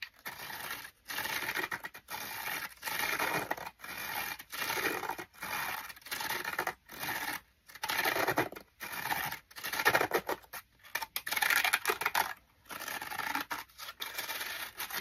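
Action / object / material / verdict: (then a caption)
scrape / pleated paper pages of a folding book lamp / paper / none. Fingertips of one hand scratch and rub the fanned-out, pleated page edges of a small handheld folding book-shaped LED lamp glowing red; the paper-like pages may be Tyvek-type synthetic paper. The result is bursts of dry, bright scratching and rustling, separated by brief silent pauses, with irregular timing.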